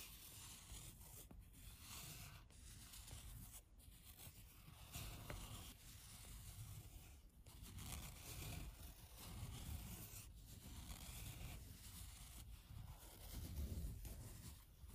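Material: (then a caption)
Woven fabric. Long nails and fingertips scratch and rub the surface of a low-pile, patterned woven fabric rug. Up close, the sound is a steady, uneven scratching and rubbing with a bright, raspy texture over a dull low rumble. It swells and eases in loose strokes without clear breaks.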